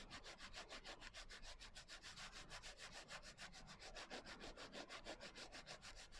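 Long nails rub and scratch the coarse glitter cover of a closed hardcover journal. A rapid, steady series of gritty, bright scraping strokes repeats at roughly three per second, each a brief hiss rich in high frequencies.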